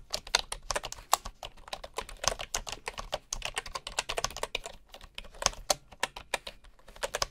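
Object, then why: Bamboo wood keyboard. Fingertips of one hand type steadily on a bamboo wood keyboard, with a wooden mouse lying idle beside it. The keystrokes come as a rapid, uneven stream of crisp, bright, dry clicks with very little low end and almost no ring.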